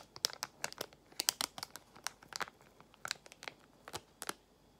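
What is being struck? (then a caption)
Small sealed plastic pouch. A small, flat, sealed frosted plastic packet with a printed label is held in both hands and squeezed and crinkled by long acrylic nails. The result is a quiet, uneven series of sharp, dry, bright crinkles and crackles with almost no low end, each snapping off instantly with no ring.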